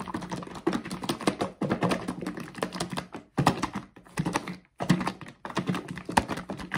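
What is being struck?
Plastic bottle of bath soak.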